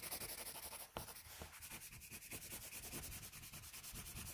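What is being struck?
Graphite pencil on a paper drawing sheet.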